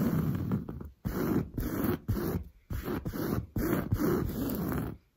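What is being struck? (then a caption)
Padded woven fabric sofa upholstery. Long blue nails scratch fast and hard across padded, grey-brown textured woven fabric sofa upholstery. The result is a dense, low, rough rasping in repeated bursts with brief gaps between strokes.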